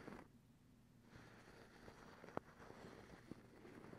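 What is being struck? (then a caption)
Cotton terry towel scratched with fingernails. A soft white cotton terry cloth towel is scratched with the long acrylic nails of both hands, producing a quiet, continuous fabric rustle. Two sharper, brief clicks stand out against the soft scratching.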